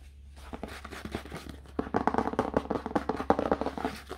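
Fingertips tap and rub the red paper endpaper glued over the cardboard inside cover of an open hardcover book. It starts with soft, sparse taps, then builds into a rapid series of crisp, papery taps and scratchy rubs that end almost instantly, over a low steady hum.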